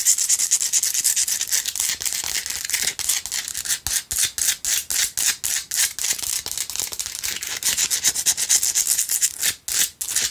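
Long acrylic nail tips scratch rapidly across the uneven surface of a small lit Himalayan rock-salt lamp, a solid rough crystal chunk held and tilted in the hands. The result is a steady stream of dense, bright, rasping scrapes with no low end, with a few brief pauses toward the end.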